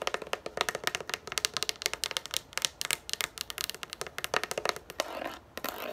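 Long nails scratch and tap quickly across the grooved top of a yellow plastic frisbee lying on a table. A dense run of sharp, bright plastic clicks and scrapes gives way near the end to a steadier, hissing scratch.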